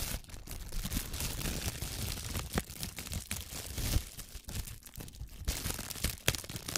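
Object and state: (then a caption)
Plastic cling film. Clear plastic cling film is bunched against the microphone and squeezed and rubbed with fingertips and long nails. The result is close, dense crinkling and crackling with sharp bright snaps over a steady low handling rumble.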